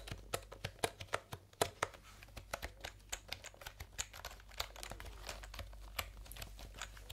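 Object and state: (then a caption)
Plastic computer keyboard being typed on. Fingertips press and tap the round, typewriter-style plastic keycaps of a full-size backlit plastic computer keyboard held upright near the microphones. The result is a steady, irregular run of sharp, dry clicks with bright tops that die away almost instantly, over a faint low hum.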